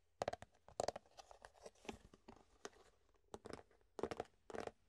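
Fingertips tap and squeeze an empty, hollow clear plastic food container held up close, its thin walls giving sharp crinkly crackles. Quick clustered bursts with a hollow midrange tone around 580 Hz alternate with softer scratchy rustling, each burst dying away almost instantly.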